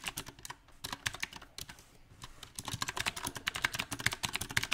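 Fingertips type on a mechanical keyboard with round plastic typewriter-style keycaps set on a silver metal frame. About two dozen short, bright clicky key taps come in an uneven rhythm, with a sparser, quieter stretch in the middle before a faster burst. Each tap is crisp and dies away almost instantly.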